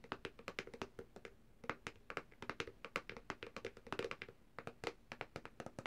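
Long nails and fingertips of both hands tap rapidly on the hard plastic back cover of a black Samsung tablet lying flat, back side up. The result is a fast, irregular run of short, dry clicks and light knocks with a hollow tone near 470 Hz, each dying away almost instantly.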